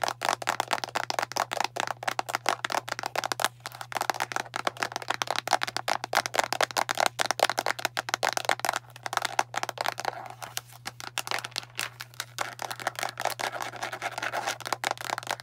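Long nails tap fast and continuously on the label side of a translucent plastic Tums antacid bottle with a printed label, full of tablets. The result is a dense stream of short, dry, bright clicks with no ring, over a faint steady low hum.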